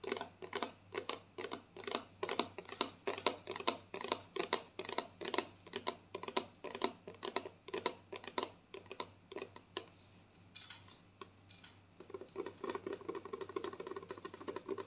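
Long painted nails tap and scratch a hollow white plastic lotion bottle with a green cap while it is held. Quick, irregular, dry clicky taps with a bright edge come in dense runs. Around the tenth second the tapping eases into a softer, scratchy rustle before the taps pick back up.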